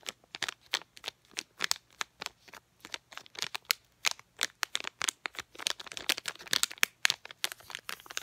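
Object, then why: Sealed plastic packet of floss picks. A small sealed DenTek packet of clear and printed plastic holding floss picks is crinkled and tapped with long painted nails. It makes a rapid stream of dozens of crisp, bright clicks and crackles, each dry tick cutting off instantly with no ring.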